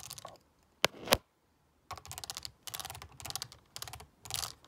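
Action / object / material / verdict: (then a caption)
scrape / plastic calculator keys rolled over by a stone roller / plastic / none. A black stone face roller is rolled by hand over the rubbery keys of a black plastic graphing calculator with a hollow casing, lying flat. Short bursts of rapid, bright clicking come in uneven clusters, with two sharper, louder clicks early on and a brief silent gap before the rolling resumes.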